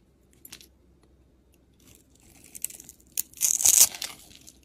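A box-cutter blade scrapes and carves curls and chips off a solid white and pink layered bar of soap held in the hand. Faint, bright scratches at first build into louder, crisp, crunchy scraping that peaks near the end and then fades.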